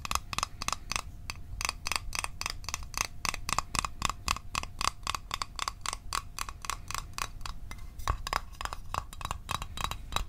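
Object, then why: Small thin metal tin. Fingernails tap the lid of a small, closed, hollow blue Altoids metal tin held in the hands. About forty quick, dry metallic clicks come in an uneven, fast rhythm, each with a bright tinny ping around 1.1 kHz that dies away almost at once. A faint steady tone sits underneath.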